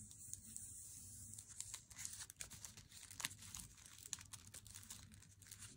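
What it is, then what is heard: Paper-wrapped chocolate bar. Fingernails tap on the face and edge of a solid, unopened Lindt Swiss Classic dark chocolate bar in its glossy paper wrapper. The result is a quiet run of quick, bright, crinkly clicks and paper rustles over a faint low hum.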